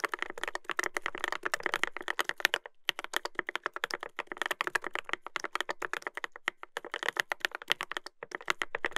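Fingertips type continuously on a Dolphin 2021 mechanical keyboard with a brass plate and plastic keycaps. Dense, crisp clacks sit bright in the mids, with brief pauses between bursts of typing, including a short gap near the middle.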